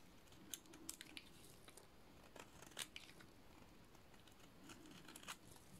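A utility-knife blade shaves and cuts into a solid, cream-colored, painted dry soap bar. The result is quiet, crisp scraping with sharp, bright crackling ticks scattered over a faint low rumble.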